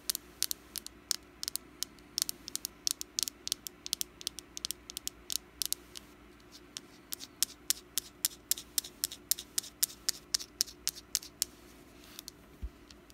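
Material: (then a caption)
Wax. Long black nails tap and scratch a small, solid orange wax jack-o-lantern candle with a wick. Quick, irregular, bright clicks and short scratches sound dry and die away at once over a faint steady hum.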